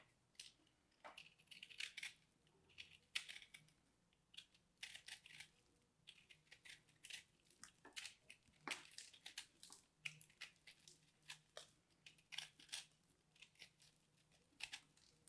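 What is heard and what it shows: A small carving blade repeatedly scrapes and cuts into a solid, hand-sized purple ball of pressed, crumbly soap held in hands with grey nails, and crumbs fall off. The sound is a quiet run of dry, bright, crisp crunching and scraping bursts with almost no low end. Each burst stops short with no ring.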